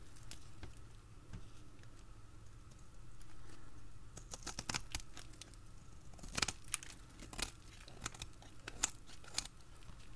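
A utility blade scrapes and cuts crunchy shavings from the end of a hand-held, dried, solid green bar soap. Sharp, bright crackling snaps and crisp scraping clicks come in irregular bursts over a low, steady background rumble, with the loudest crunches near the end.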